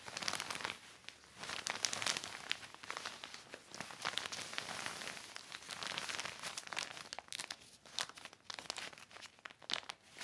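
A hand holds a yellow microfiber cloth and wipes and rubs it across a black heavy plastic sheet, making a continuous, dense crinkling with rapid bursts of crackle. The sound is bright and airy with almost no low end. It rises and falls in waves as the cloth moves, with short quieter gaps between strokes.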